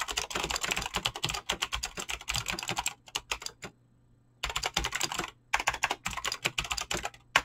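Fingertips type fast on a Razer BlackWidow mechanical keyboard with clicky green switches and pink-blue dyed PBT plastic keycaps, producing rapid bright clacks. Bursts of dense keystrokes are broken by a few slower taps and a brief silent pause before the fast typing resumes, ending on one louder click.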